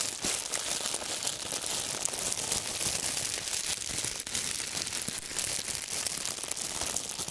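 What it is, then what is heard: Crinkled plastic wrap. A loose wad of clear, wrinkled plastic film is squeezed and crumpled with the fingertips of both hands. It makes a steady, dense stream of bright, crisp crinkling and crackling, almost all of it high-pitched with very little low end. The sharp snaps die away instantly.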